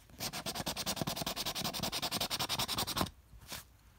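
A copper coin held between the thumb and fingers scratches the remaining coating off a flat, thin card paper scratch-off lottery ticket that is already mostly scratched. About thirty quick, bright, rasping strokes run steadily for three seconds, then stop, followed by one faint, brief scrape before quiet.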